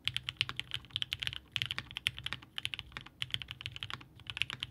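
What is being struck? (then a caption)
Mechanical keyboard with aluminium case and plastic keycaps. A 65% Haus mechanical keyboard by Hand Engineering, with a blue-grey aluminum case, polycarbonate plate, linear switches and GMK DMG ABS keycaps, sits on a desk mat while both hands type steadily with fingertips, bottoming out the keys. Around thirty short, bright clacks come in quick uneven bursts, each dying almost instantly over a faint low thud.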